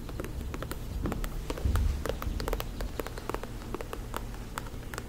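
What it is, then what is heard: Faux leather ankle boot. A black faux-leather lace-up ankle boot, held by the shaft, is tapped and scratched with long acrylic nails. Quick, irregular clicks sound over a steady low hum, with a louder scraping rub partway through.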